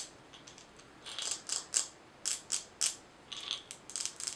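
A glass mason jar with a gold metal lid, filled with small colorful items and held in both hands, is tapped and scratched with long nails. Quick, bright clicking and scratchy bursts come in uneven clusters, each decaying fast with almost no low end.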